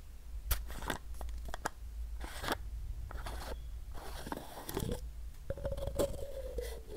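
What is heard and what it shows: Fingernails scratch along a capped, hollow white plastic supplement bottle and its paper label while it is held in both hands. A series of dry, scratchy scraping strokes and light taps comes over a steady low hum. Near the end, a faint squeaky tone rises out of the scratching.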